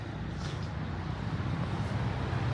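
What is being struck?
Nothing is struck.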